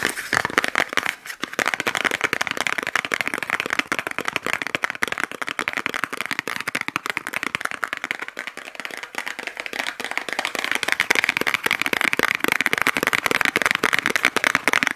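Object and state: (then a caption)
Small cardboard box. A small white paper or cardboard box, held in both hands, is tapped and scratched fast with fingernails. The result is a dense, continuous stream of dry, bright clicks and scratchy rustling with almost no low end and no ring after each tap.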